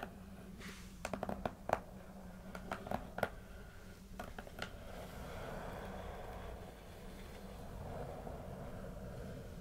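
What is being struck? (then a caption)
Corrugated cardboard box. Long acrylic nails and fingertips tap and scratch the front and top faces of a small, closed, taped corrugated cardboard shipping box that is hollow with contents inside. Bursts of sharp, hollow clicking taps in the first half give way to a steady, soft scratching rustle that continues to the end.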